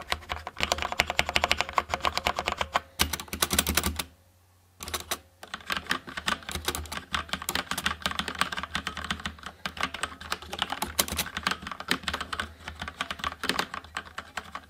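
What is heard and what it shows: Fingertips press and tap individual keys on a HyperX Alloy FPS Pro tenkeyless mechanical keyboard with plastic keycaps, Cherry MX Red switches and red backlight, resting on a wooden desk. Rapid, bright plastic clacks come in dense bursts over a faint low hum, with a brief near-silent pause just after four seconds before the typing resumes.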